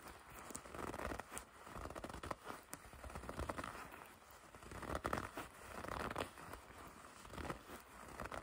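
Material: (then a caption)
Leather. A dark leather jacket is gathered in both hands while long red nails grip and rub its flexible leather surface. The result is a quiet, continuous run of soft creaking, crinkling and rubbing, with short brighter scrapes and crackles rising and falling in waves, centred in the mid range with little low end.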